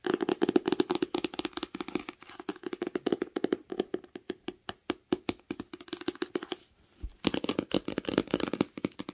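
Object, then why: Cloth-covered hardcover book with embossed cover. Long nails tap and scratch the raised pattern on the embossed textured cloth cover of a solid green hardcover book. The result is a fast, steady run of short, dry, mid-pitched taps mixed with light scratching, which pauses briefly near the seventh second and then resumes.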